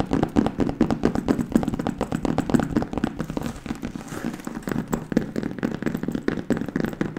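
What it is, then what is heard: Patent leather handbag. A hollow burgundy and black glossy patent leather handbag, held in front of a microphone, is tapped fast with long nails. The result is a dense, steady stream of short, dry clicks with a low-mid body around 240 Hz and almost no ring. The tapping softens for a moment midway, then picks back up.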